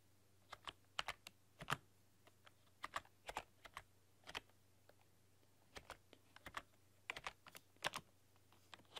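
Long dark-polished nails and fingertips type on a full-size plastic computer keyboard with black keycaps and a rainbow RGB backlight, pressing and clicking the keys. Quiet, sharp clacks and taps come in irregular bursts, each dying away almost at once, over a faint steady low hum.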